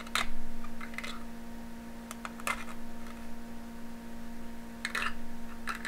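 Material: Aluminum foil.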